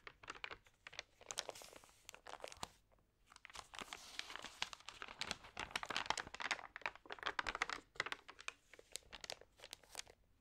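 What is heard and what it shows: A hand flips and rubs the thin, wavy pages of an open glossy paper magazine. The result is a quiet, bright stream of dense crinkling and rustling with sharp papery snaps and a short lull near the three-second mark.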